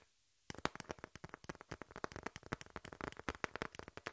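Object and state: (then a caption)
Corrugated cardboard sheet. A brown corrugated cardboard piece with a torn edge, held in hand, is scratched with long nails. After about half a second of near silence comes a rapid run of roughly 25 short, dry, crackly scratches with bright, papery texture that stop almost instantly.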